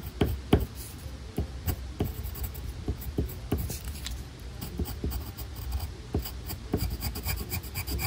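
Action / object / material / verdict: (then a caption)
scrape / colored pencil on a paper sheet / paper / none. A black colored pencil draws and rubs stripe lines across a paper tiger coloring page in close-up. Soft, dry scratching and rubbing is heard as a steady low rasp, broken by repeated short stroke ticks where the pencil tip catches and lifts from the paper.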